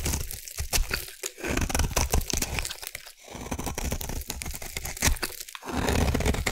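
A solid light green bar of soap from the Savannah collection, held in the hand, is scraped with a metal blade into shavings. The result is a dense, crunchy, crinkling scrape with a tearing texture, running in continuous bursts broken by brief pauses.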